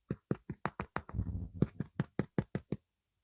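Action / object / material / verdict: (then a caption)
knock / focaccia bread loaf / bread / hollow. Someone knocks on the golden-brown top of a fully baked garlic and rosemary focaccia, producing a quick series of dull, low, hollow thuds with a brief muffled rumble in the middle. The hollow sound shows the bread is fully cooked through.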